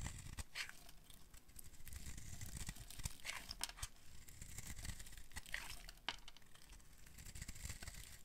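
A solid, dark green oval bar of dry soap is held in the hands and scraped and carved with a metal blade, shavings curling off. Dry, crinkly scraping and crunching strokes come in quick bright bursts over a low rumble, without much ring.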